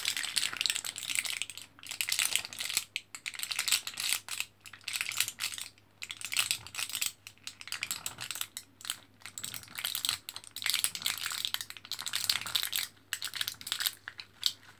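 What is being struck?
Plastic blister pack with foil backing.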